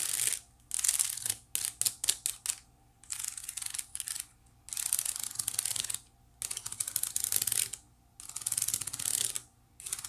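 Long nails scratch and flick over the woven strands of a small, hollow, white wicker basket. Bursts of dry, bright, crackling scratches alternate with short pauses, with a run of quick, separate flicks early on and little low-end sound throughout.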